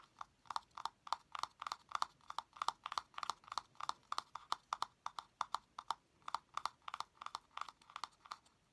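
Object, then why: Small plastic cylindrical container with lid. Fingernails tap the lid of a small, hollow blue plastic cylindrical container with a lid, held in one hand. Quick, dry clicks come in a rapid, uneven series with a hollow tone around 900 Hz and a bright edge. Each tap dies away almost at once, with a brief pause midway.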